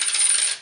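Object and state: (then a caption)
Clad (non-silver) quarter. A 2013 copper-nickel clad (non-silver) quarter is dropped on a table, giving a short, bright metallic ring with a high pitch that fades away within about half a second. Its tone is lower than that of a 1962 silver quarter, which identifies it as clad rather than silver.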